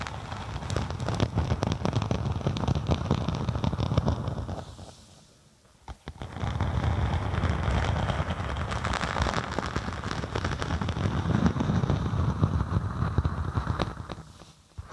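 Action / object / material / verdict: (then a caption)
scrape / faux snakeskin synthetic leather sheet / synthetic leather / none. Long acrylic nails scratch a flat black-and-white faux snakeskin synthetic leather sheet held over a microphone, making a dense, bass-heavy crackle of rapid scratches. The scratching pauses briefly near the middle, then resumes just as thick before trailing off at the end.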